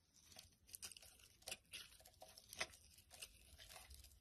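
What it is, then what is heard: Glycerin soap bar being shaved. A metal utility blade shaves long strips off the surface of a translucent amber glycerin soap bar held in the palm. Quiet, crisp scraping and crackling strokes come in irregular bursts, bright and dry with almost no low end.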